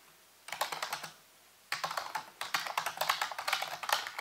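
Fingertips type rapid key taps on a full-size black plastic keyboard with hollow keys, set on a white base. Three bursts of quick, crisp clicking come through, bright with almost no low end, separated by short quiet pauses. Each tap dies away almost immediately.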